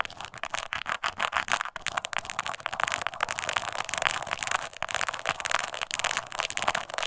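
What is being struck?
Small crocodile-embossed leather coin purse.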